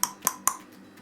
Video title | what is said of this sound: Bread rolls KS3 Food | it should sound hollow if you have a dull thump you need to put it back in for a little bit longer